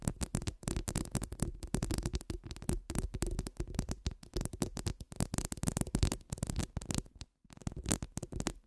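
Long acrylic nails scratch and tap the steel mesh of a hollow metal mesh microphone head held between both hands. The result is a dense, fast run of crackling scrapes and soft taps, heavy in low rumbling thumps with a bright fizzy edge, pausing briefly just past the seven-second mark before resuming.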